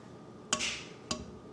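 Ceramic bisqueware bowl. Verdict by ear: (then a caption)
Wet. A handmade ceramic bisqueware bowl, still soaked after being filled with water for 24 hours and leaking into a puddle with drips, is tapped twice. Each tap gives a short, dull, bright click with little ring that fades quickly, instead of the nice ring the bowl has when dry.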